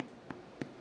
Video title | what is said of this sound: Easy Milk Bread Recipe - Start to Finish Milk Bread Recipe with Tips and Tricks | आप इसको नीचे से हल्का सा टैप करेंगे और इसमें खोखली सी आवाज़ आती है जैसे अभी आ रही है, तो समझ जाइए कि ब्रेड आपकी बहुत अच्छी तरह से बेक हो चुकी है।